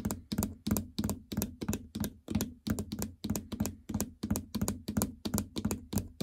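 Long fingernails tap on the plastic keypad of a treadmill control console, across its incline, speed and stop buttons, which sit in a hollow housing. Quick, uneven taps, some in close pairs, give a hollow low thunk with a bright nail click on top, each dying away almost at once.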